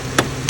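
Two sharp taps land on a Cadillac's electric radiator cooling fan motor over a steady whirring hum from the running fan. Tapping makes the fan speed up and stop its bearing noise, showing the fan's bearings are bad, which explains the car overheating with the AC on.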